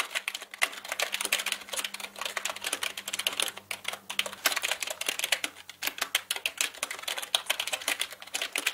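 Both hands type with their fingertips on a black mechanical keyboard with plastic keycaps, producing a dense stream of sharp, bright clicks with a brief pause near the middle. Each keystroke is short and dry, dying away almost instantly.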